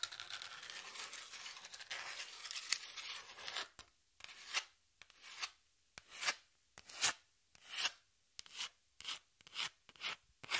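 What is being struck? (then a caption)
Corrugated cardboard piece. Long pink nails scratch the face and edge of a small, flat piece of brown corrugated cardboard held upright in the hands. A dense, bright, continuous scratching runs for about four seconds, then breaks into a series of separate short, crisp scrapes with brief silences between them. The sound is dry and high-pitched, with no low end.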